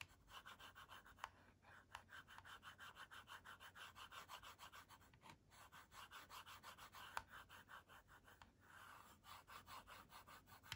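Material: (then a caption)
Plastic. A pink plastic stylus tip, held by a hand with long nails, scratches and writes across the screen of a kids' LCD writing tablet with a plastic frame. It makes quick, rhythmic, dry scraping strokes with a few sharp ticks, broken by brief pauses, all at a soft, close level.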